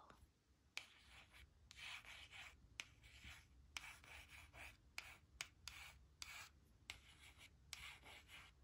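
A thin, flat laminated cardstock word strip reading "she will / she'll" rests on a woven blanket while its letters are traced with long pink nail tips and then a white plastic stylus. Bright, dry scratching and rubbing strokes come in bursts, broken by sharp taps that die away almost at once.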